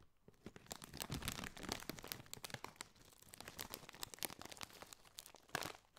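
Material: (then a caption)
Metallized plastic. A hand squeezes and crinkles a hollow, apparently mostly empty Doritos snack bag made of foil-lined, metallized plastic, while fingertips scratch its surface. The result is a quiet, continuous run of bright, crackly crinkles and sharp snaps that swell and fade, ending with a louder crunch near the end.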